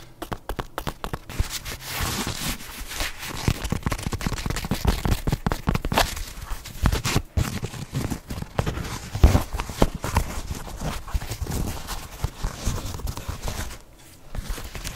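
A flat leopard-print canvas espadrille shoe with a light woven sole is held close to the mic and scratched and rubbed with long nails. The result is a dense, continuous run of fast, crackly scratching strokes with low, bassy friction. It eases briefly near the end before picking up again.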